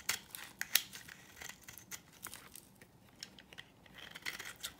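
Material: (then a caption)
Soap. A utility knife blade scrapes a solid, dry yellow oval bar of soap, sending flaky shavings falling. Quiet, bright, crisp scraping ticks come in an irregular run, each dry and short with almost no low end.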